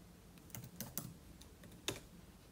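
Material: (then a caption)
Plastic. Fingertips type steadily on the plastic keys of a silver aluminium-bodied laptop resting on a table. Several quiet, bright clicks are spread unevenly over a soft background hiss, with one sharper tap near the end.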